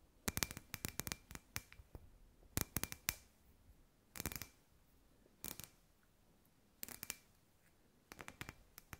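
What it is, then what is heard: Glass ball lamp. Long white nails tap and scratch a hand-sized, hollow, clear glass sphere lamp with fairy lights inside. The sound comes in quick clusters of sharp, bright clicks and scrapes separated by quiet pauses. Each hit dies away almost instantly, leaving a faint glassy ring near 2.5 kHz.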